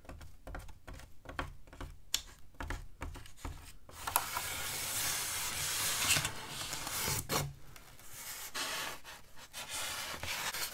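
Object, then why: Polystyrene foam sheet. Hands with long dark nails rest on and grip the edge of a large, flat, white solid styrofoam (polystyrene foam) slab lying on a table in front of the mic, rubbing and scratching it. Short, dry, squeaky scratches with soft low thumps give way to a sustained, bright, hissing rub in the middle, then return to scattered scratches.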